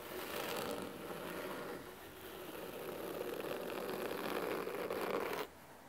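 Fingernails of both hands scratch the cloth top cover of a large, solid blue cloth-bound hardcover book resting on a wooden table. The result is a continuous, crisp, rasping scratch with a fuzzy midrange body and a bright hiss, holding steady for about five and a half seconds. It then stops abruptly, leaving only faint background noise.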